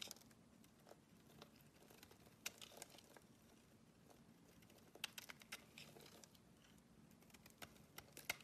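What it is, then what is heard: Bar soap being shaved with a blade. A short metal blade scrapes along a solid oval green bar of soap held in the hand, shaving off soap curls. The sound is quiet, bright and crisp, a continuous papery crinkling scrape with sharp little ticks and crackles, over a faint steady low hum.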